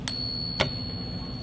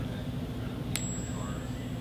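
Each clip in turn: First: Two light taps set a silver dollar ringing with a clear, high, steady tone that holds on: genuine silver. Second: One light tap gives a thin, very high ring that fades within a second: a fake, non-silver dollar coin.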